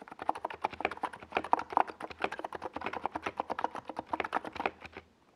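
Fingertips of both hands type fast on a compact 68-key NiZ Plum Atom 68 mechanical keyboard with a white plastic case and purple and yellow Domikey Gas Attack SA plastic keycaps, resting on a desk pad. A rapid, uneven stream of short, dry plastic clacks centered in the midrange around 930 Hz, each dying away almost instantly, runs steadily before the typing stops about five seconds in.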